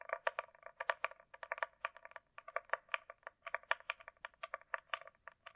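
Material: Hard plastic.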